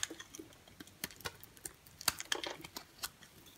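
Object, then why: Bar of soap shaved with a blade. A dry, brown-and-cream striped solid bar of soap, held in the hand, is shaved with a box cutter blade. About fourteen short, crisp, bright scraping clicks sound in quick succession, each dying away almost instantly with almost no low end.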